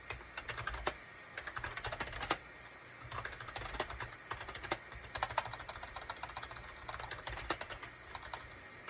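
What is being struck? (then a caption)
Plastic computer keyboard. Rapid fingertip typing with both hands on a gray SHIPADOO K600 full-size wired USB keyboard with a gray plastic case and cream, gray and orange plastic keycaps. The quick, dry plastic clicks come in bursts with short pauses, each tap fading almost instantly, and there is a faint low hum underneath.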